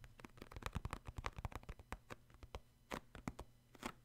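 Short fingernails scratch and rub the printed top of a hollow purple cardboard Puffs tissue box holding tissues. The result is a quick series of soft, dry scratches and taps over a low hum.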